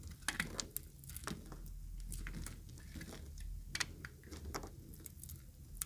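A utility knife blade cuts and scrapes along the edge of a yellow-green solid dry soap bar. It makes a quick, irregular series of short, crisp, bright crackling snaps and scrapes with almost no ring. A steady low rumble runs underneath throughout.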